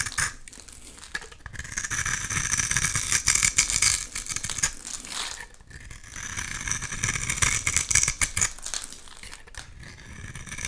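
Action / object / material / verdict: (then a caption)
scrape / bar soap / soap / none. A utility knife blade scrapes shavings off the surface of a solid, hand-sized oval purple bar of soap held in one hand. The scraping is dense, crisp and crinkly, with a bright, hissy texture that rises in two long swells and dips briefly in between.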